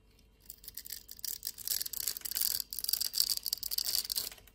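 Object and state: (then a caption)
Bar of soap being scraped. A utility knife blade scrapes small cubes and flakes off a solid blue bar of soap with a scored grid, held in the palm. After a brief quiet start, a steady run of crisp, bright scratching and crackling follows, made of dense short ticks with almost no low end.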